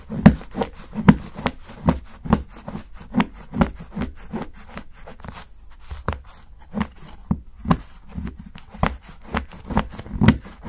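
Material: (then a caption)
Chocolate. A steel kitchen knife shaves thin curls off the edge of a solid dark chocolate bar held flat by fingertips on a dark board, piling up chocolate shavings. A fairly irregular series of short, dry scraping strokes sounds with a low woody body around 215 Hz and little high-end, each stroke dying away quickly.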